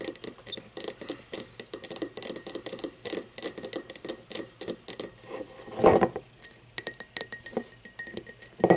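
An empty cut-crystal glass tumbler, turned first with its mouth and then its side toward the camera, is tapped with long nails in a rapid, uneven run of sharp, bright clinks with a faint glassy ring near 760 Hz that dies away almost at once. About two-thirds of the way through, the tapping pauses for a brief, louder, noisier rub before the quick clicks resume.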